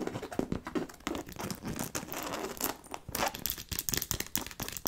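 Long nails scratch and tap the fabric front of a hollow black logo-fabric handbag with faux-leather straps and silver buckles. Dense, bright scratching and rustling is broken by quick, sharp taps that stop almost at once, with a faint hollow body under the fabric.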